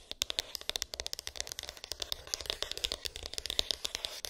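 Long pink acrylic nails rapidly tap and scratch a small, hollow white cardboard iPhone box with an embossed, textured lid, its contents unknown. Dozens of crisp, dry clicks ring out with almost no ring, bright and concentrated around 3.7 kHz, over a soft scratchy rustle with very little low end.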